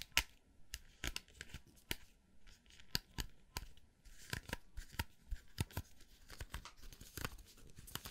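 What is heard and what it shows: Fingertips rub and flick the black plastic bristles of a round hair brush with a metal barrel while the handle is held. The result is a quiet, close-up series of sharp, bright ticks and crackly scratching bursts with brief, dry decays and soft rustling between them.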